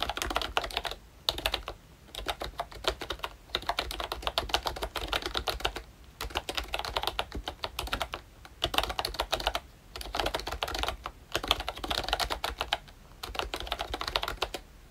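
Fingertips type continuously on a pink and brown plastic ROYCHE Disney Mickey Mouse retro membrane keyboard. Soft, bright clicky keystrokes come in rapid bursts separated by brief pauses.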